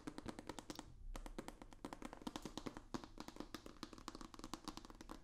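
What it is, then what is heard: Cardboard box tapped. Fingertips and nails tap rapidly on a long, hollow, rigid white cardboard box with a black stripe. The result is a dense stream of dry, quick-dying taps with a hollow low-mid body and bright clicky edges, pausing briefly near the one-second mark before resuming.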